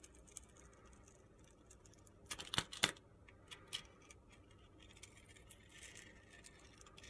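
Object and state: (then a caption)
Glittery soap bar being scraped. A metal utility knife blade scrapes the purple glitter coating off a hand-sized solid white soap bar held in a hand, exposing the white soap underneath. Quiet, crisp, gritty scratches and light ticks come at an irregular pace, bright and high-pitched with almost no low end. A short burst of louder, sharper scrapes stands out in the middle.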